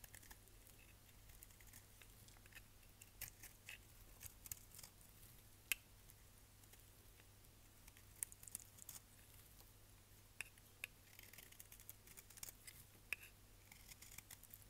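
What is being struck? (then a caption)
Bar of soap. A solid red striped bar soap, held in hand, is scraped with a utility knife blade, giving quiet, dry, crisp scratching with scattered sharp bright ticks and snaps. A steady low hum runs underneath throughout.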